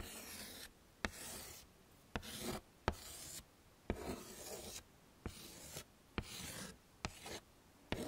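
A hand with painted nails writes and retraces letters in white chalk on the dark surface of a small, flat, wooden-framed chalkboard. Bursts of dry, bright chalk scratching alternate with short pauses, punctuated by nine sharp taps as the chalk meets the board.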